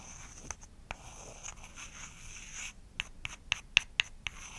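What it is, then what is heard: Wooden block. A small, solid, light-wood rectangular block, a wooden makeup prop held in one hand, is scratched and tapped with long acrylic nails. A soft, bright scratching runs through the first few seconds, then about nine short, crisp taps with a woody click near 2.7 kHz follow, each dying away almost instantly.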